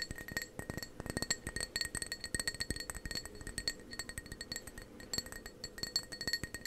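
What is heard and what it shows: Fingernails tap rapidly and unevenly on the outer wall of a hollow, apparently empty dark blue ceramic mug held in both hands close to the microphone. Each tap makes a short, bright clink with a high ringing tone and a steady tone near 2 kHz, and it dies away almost at once.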